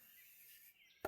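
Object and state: Piece of wood, knocked.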